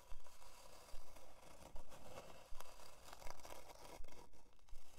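A flat, solid plywood heart-shaped plaque with a twine hanger, lying on faux fur, is scratched with long dark nails. Repeated short, dry scraping strokes come in a loose rhythm, each with a bright, rasping edge and a quick fade between strokes.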